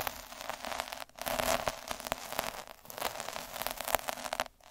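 A black derma roller with metal spikes is rolled and scratched across a red felt sheet lying on a dark surface. The result is a dense, crackly, static-like scratching with many quick bright ticks above a thin low end. The scratching drops out briefly twice.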